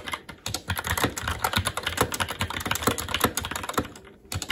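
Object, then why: Mechanical keyboard with plastic keycaps. A SteelSeries Apex 7 TKL mechanical keyboard with plastic keycaps on a metal top plate and Red linear switches is typed on continuously and quickly with the fingertips of both hands. Dense, overlapping plastic clacks have short, dry decays and a bright top, with a soft low thud under each press. The typing briefly thins out near the end before picking up again.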